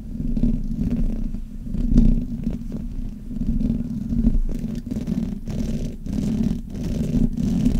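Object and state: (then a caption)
Metal microphone grille being rubbed. Fingers and long nails rub and scratch both sides of the hollow metal mesh grille on a black Blue Yeti microphone. The result is a continuous muffled, rumbling scrape concentrated in the lows with a steady hum-like band near 215 Hz, swelling and easing in waves, with brief brighter scratches flickering through.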